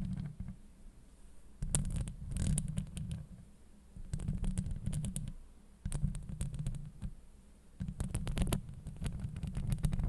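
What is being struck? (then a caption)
Steel mesh microphone grille scratched and tapped with long nails. Long light-blue acrylic nails of both hands scratch and tap the hollow woven steel mesh grille of a Blue Yeti USB microphone. The result is bursts of deep, boomy rumbling scrapes, dotted with crisp, bright clicks from the taps, separated by quieter stretches of faint hiss.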